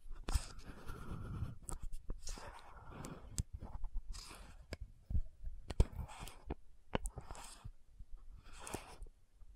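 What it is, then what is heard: Plastic lotion bottle with cap. Long nails scratch and tap the gold cap and neck of an orange-red frosted plastic lotion bottle. Soft, hissing bursts of scratching alternate with sharp, quick clicks that die away almost instantly. The overall sound is quiet and close, with most of its weight in the low range.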